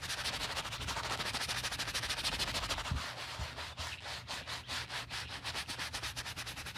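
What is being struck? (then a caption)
Quilted leather handbag scrubbed with a horsehair brush. A black chevron-quilted leather handbag is foam-scrubbed with a wooden-handled horsehair brush. Rapid, steady back-and-forth bristle strokes make a bright, hissy scrubbing sound with soft foamy crackle. The strokes grow more distinct and rhythmic after the first few seconds.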